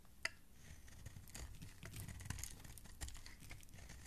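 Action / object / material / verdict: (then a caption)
scrape / bar of soap cut with a metal blade / soap / none. A flat metal blade shaves long, crumbly strips from the surface of a hand-sized solid green soap bar held in a hand. The result is a quiet, steady scraping and crinkling texture with a few sharper clicks as the curls break away.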